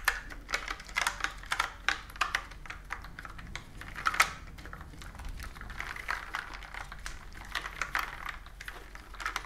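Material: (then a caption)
Plastic. Long nails tap and type on a plastic computer keyboard with round keys, making quick, bright, plastic clicks that stop almost at once. Sharp, irregular taps come first, then a softer, steadier run of typing with a few louder clicks mixed in.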